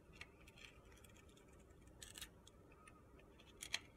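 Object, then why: Glitter-coated soap bar scraped by a steel blade. A steel utility knife blade carves and scrapes flakes off a hand-sized solid soap bar with a purple-red glitter coating and a white core, held in the fingers. Quiet, crisp, gritty scratches and clicks sit mostly in the high range over a low background hiss, with the sharpest scrape near the end.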